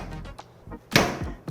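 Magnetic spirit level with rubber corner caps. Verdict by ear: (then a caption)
Cushioned. A standard magnetic spirit level with thick corner covers is dropped from the top and lands with a dull thunk, followed by a smaller second knock. It rebounds very little, and the damped sound shows the shock-absorbing corner cover takes the impact.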